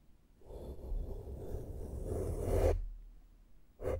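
A small flat makeup brush strokes the side of a black foam microphone windscreen. A soft, low, muffled rustling builds for about two seconds and cuts off sharply, then a fresh burst of brushing starts just before the end.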